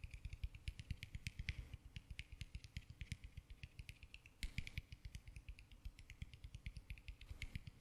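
Fingernails rapidly scratch and tap the textured peel of a small whole orange held close to the microphone. Dozens of quick, dry taps come in a steady patter, each a soft low thump with a bright, crisp tick on top, fading almost at once. A louder cluster of scratches stands out about halfway through.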